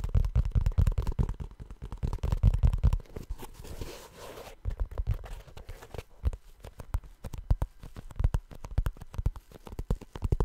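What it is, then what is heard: Rubber shoe. Fingertips tap and scratch the rubber toe of a blue rubber shoe. Quick, dull, low taps come in a dense irregular run, ease into a softer scratching stretch midway, then return as sparser, scattered taps with almost no ring.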